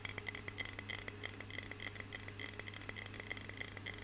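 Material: Glass.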